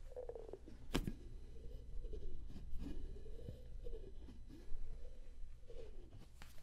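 Hands twist and rub the lid of a clear, empty, hollow, medium-sized plastic deli container and handle its sides. Low, muffled rubbing is broken by squeaky, sweeping creaks and a few sharp plastic clicks, with the energy mostly in the low range.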